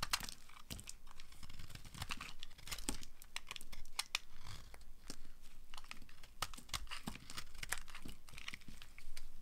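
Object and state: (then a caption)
Dry bar soap being scraped. A utility cutter blade scrapes crumbly shavings off a hand-sized solid bar of dry yellow soap held in the hand. Dense, crisp scraping and crackling strokes with sharp, bright clicks follow one another over a low background rumble, and each stroke dies away almost instantly.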